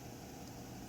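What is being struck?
Nothing is struck.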